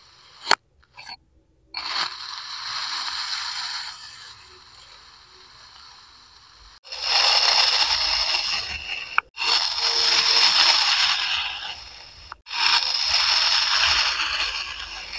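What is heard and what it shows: A steel kitchen knife, held by hand, cuts and scrapes slices off the top and side of a solid, palm-sized green kinetic sand castle block. A few sharp taps open the clip, followed by bright, gritty scraping strokes. Three long, loud passes come in the second half, separated by brief clicks.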